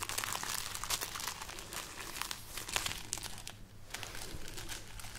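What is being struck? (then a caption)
String of dried red chili peppers. Fingertips and nails rub and crinkle the brittle, hollow pods on a string of dried red chili peppers, up close. Dense, bright, papery crackles and crunches come in quick bursts over a faint steady low hum, with a brief lull just before the rustling resumes.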